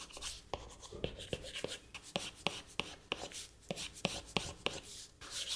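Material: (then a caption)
Glass. A plastic stylus nib makes rapid, short rubbing strokes across the flat glass touchscreen of an iPad. The result is a quick, irregular run of dry, scratchy taps and swishes, bright in tone with sharp ticks at the start of each stroke and almost no ring.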